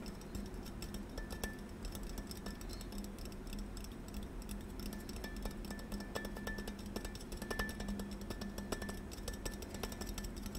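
A gold water bottle is tapped in quick, light, continuous taps, giving soft clinking clicks with a faint ringing tone near 1.8 kHz over a low, steady hum.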